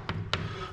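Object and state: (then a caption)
Hollow-sounding plaster stair step. Two knocks on a stair step sound hollow rather than solid, each a short broadband thud with a low boom near 90 Hz. The step is thought to be just gypsum plaster (yeso).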